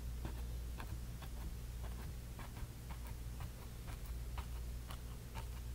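A bristle brush dabs and rubs magenta paint onto a small painted canvas panel, making soft, scattered ticking dabs and light scratchy strokes. The quiet brush sounds sit over a steady low hum that fills most of the clip.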